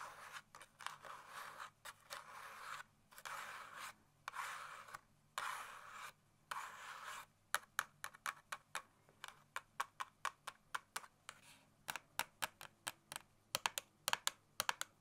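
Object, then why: Small cardboard box. A small, hollow red Scotch cardboard tape box is scratched and tapped with long nails. For the first seven seconds, dry, broadband scratching strokes come in bursts with short pauses between them. After that, quick, crisp taps with a papery, hollow knock follow in clusters until the end.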